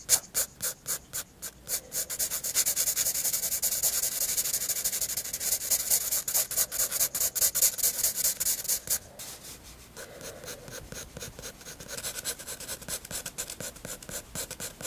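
A graphite pencil makes quick scratching hatching strokes across a white paper sketchbook page. Distinct strokes at first quickly merge into a dense, bright, rasping scratch that dips quieter around the nine-second mark before resuming more softly.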